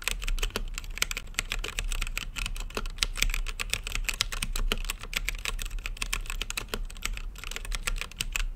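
Fingertips type continuously on a mechanical keyboard with plastic keycaps on a translucent acrylic case. The result is a rapid, uneven stream of short, bright plastic clacks that stop instantly, over a steady low hum.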